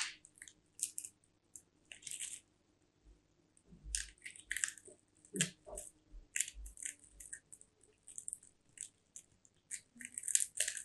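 A small solid bar of white soap with an embossed top is held in both hands while its edge is scraped and carved with a small striped blade. Dry flakes crunch off in a quiet series of crisp, bright scrapes and crackles, with short pauses between strokes.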